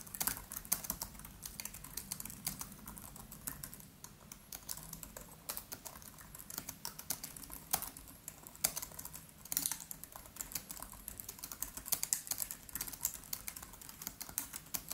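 Both hands type quickly with the fingertips on a MacBook Pro's built-in keyboard, its black plastic keys set in an aluminium body. A steady stream of short, bright, crisp taps runs throughout, each click dying away almost instantly, with occasional louder keystrokes standing out.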